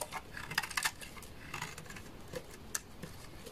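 A solid beige bar of laundry soap, held in the hand, is scraped with a utility knife blade so that flakes fall away. The scraping gives short, dry, bright crackles and clicks with almost no ring, over a faint low rumble.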